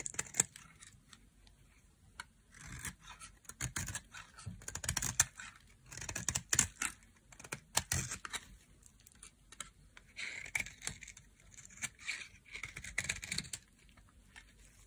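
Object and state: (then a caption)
Dry bar soap being shaved. A solid white bar of dry soap is shaved with a knife blade, curling off flaky, powdery shavings. The quiet clip is full of short, bright, crisp scraping and cutting strokes with little low end, coming in uneven bursts throughout.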